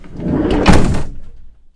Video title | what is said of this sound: Dämmung OHNE Armaflex 🤦‍♂️ Warum wir TÜREN dämmen & Prototyp WandaGO Campingtoilette ➟ BAUVLOG 5 🚐 | je trouve que l' acoustique s'est définitivement améliorée et c'est juste un peu isolé encore ça sonne plus plein